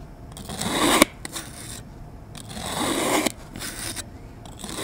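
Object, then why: Kinetic sand mound cut with a metal blade. A metal utility knife blade cross-cuts a solid lime-green kinetic sand mound on a board into small pieces with repeated slicing strokes. Two long, gritty, bright scraping strokes each swell and end in a sharp tick as the blade meets the board. Softer, shorter cuts fill the gaps between them.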